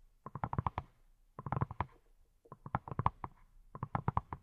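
Fingertips wearing silicone rubber pads tap a hand-sized yellow silicone pineapple-shaped brush that appears hollow. About 23 soft, quick, dull taps come in four short bursts, each with a low thump and a hollow midrange knock that dies almost instantly.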